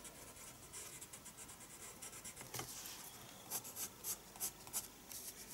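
A pencil makes quick hatching strokes on the paper of a spiral-bound sketchbook. Soft, bright scratching builds into a run of sharper, separate strokes toward the end. The sound stays quiet and close throughout.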